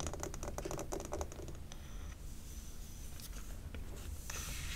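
Long nails tap and rub the glass sides of a large, lit amber glass jar candle full of wax while hands cradle the jar. A quick run of light, clicky taps fills the first second or so, then gives way to softer scratchy rubbing and a few scattered taps over a steady low hum.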